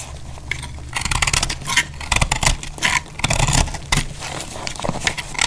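A solid, dry, heart-shaped orange speckled soap is held in the hand while a metal utility knife blade cuts and shaves it, breaking off chunks. Bursts of crisp, bright scraping and crackling come and go over a low steady hum. The shavings and chunks snap off in quick, dry clusters.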